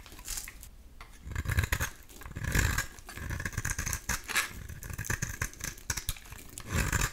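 A metal utility-knife blade shaves curls from a solid, cream-colored oval soap bar with an embossed logo, held in hand. Repeated dry, crackly scraping strokes swell into louder, brighter shaves with a soft low thud beneath each pass.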